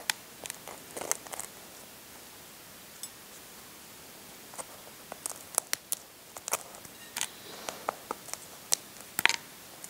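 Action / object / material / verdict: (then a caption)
scrape / hard-boiled egg shell / eggshell / none. Fingertips and short nails scratch and pick at the shell of a hard-boiled brown egg, chipping it at one spot. Sharp, bright clicks and crackles sound over a quiet background, sparse at first and then more frequent, with almost no low end and no ring.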